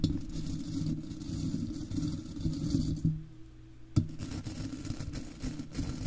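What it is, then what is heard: Metal mesh microphone grille being brushed. Stiff bristles of a golf club cleaner brush scratch and brush across the silver wire-mesh grille of an uncovered microphone with a hollow, rounded head. The close, low-heavy scraping rumbles continuously, eases into a quieter hum for a moment, then a sharp tap restarts the brisk brushing.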